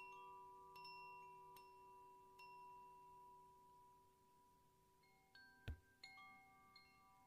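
A hollow bamboo koshi wind chime, about 15 cm long, hangs by its cord from the fingertips and is swayed so its internal rods strike and ring. Seven soft, clear chime strikes are heard, spaced unevenly. Each leaves bright, sustained bell-like tones that hang and overlap quietly.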